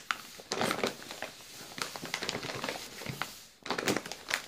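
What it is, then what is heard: Plastic biscuit bag. A full yellow plastic Balocco biscuit bag is crinkled at the top and sides with the fingers. Bright, crackly plastic rustles come in bursts, loudest near the start, in the middle and again at the end, with short quieter gaps between.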